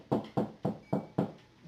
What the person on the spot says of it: when you come towards the edge, it sounds a lot more dense